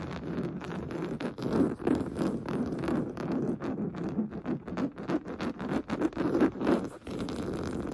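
Painted fingernails scratch fast and hard across a large stuffed cream pillow of fine-weave fabric. The sound is a dense, irregular run of soft, dull rasps and scrapes, mostly in the low-mid range with almost no bright content. Each stroke dies away almost at once.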